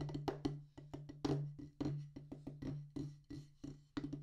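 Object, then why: Rubber practice pad on a wooden base. Two wooden drumsticks tap a solid black rubber practice pad on a wooden base in a quick, uneven series of short, dry, woody knocks. Each tap dies away almost at once, over a faint steady low hum.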